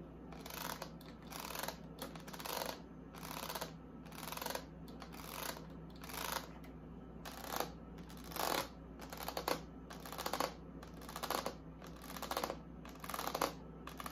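Long acrylic nails scratch and tap along the ribs of the inner white ribbed plastic liner of an open mini fridge door, a hollow molded plastic door with a shelf rail. Short, bright, crackly scrapes repeat roughly once a second over a steady low hum.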